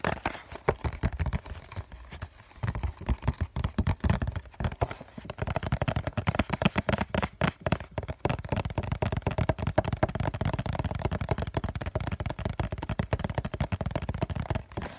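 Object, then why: Cardboard tissue box. The flat bottom face of a hollow COCON cardboard tissue box is tapped with the fingertips and nails of both hands in a fast, continuous flurry. The taps sound dull and hollow, with deep thuds and a midrange knock that die away almost instantly, and a few sharper clicks from the nails. The tapping runs steadily for the full fifteen seconds with only a brief lull near the start.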